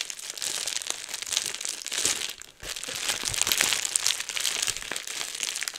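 A clear plastic bubble wrap sheet is bunched in both hands close to the microphone, crumpled and squeezed with the fingers to pop the bubbles. The result is dense, bright crinkling with quick sharp pops throughout, broken by a brief quiet gap midway.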